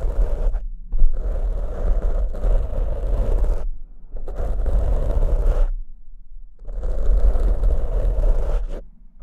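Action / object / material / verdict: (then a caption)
scrape / foam microphone windscreen / foam / none. Fingertips and short nails of both hands scratch the soft, porous surface of two identical black foam windscreens fitted over hollow studio microphone heads. The result is dense, rustling scratching with a heavy low rumble and a warm midrange hiss, heard in three long bursts separated by brief silences.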